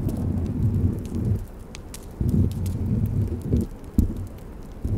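A thin, solid, flat cut-out wooden Christmas ornament shaped like a snow globe with a bell and bow, covered in gold and silver glitter, is held against a fluffy microphone cover and scratched and tapped with long red nails. The result is a dense, muffled low rumble of scratching that swells and fades in uneven bursts, with faint bright ticks sparkling above it.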